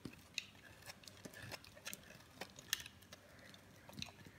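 A metal blade carves and shaves chunky pieces off a solid green bar of dry soap held in the palm. Quiet, crisp, bright scraping crackles and sharp little snaps come in an irregular series, each dying away almost instantly.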